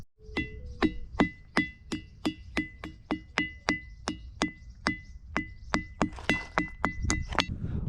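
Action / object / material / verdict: strike / natural rock, bell stone / stone / none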